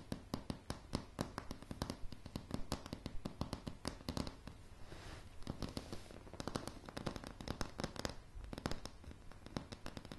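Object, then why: Pine floorboards. Long polished fingernails of both hands tap fast on a solid wooden plank floor of light pine boards. Dozens of short, dry, quiet clicks patter unevenly with no ring. A brief softer scratchy rustle comes in around the middle.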